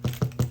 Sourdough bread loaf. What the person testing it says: it should also be sound hollow when you tap it on the bottom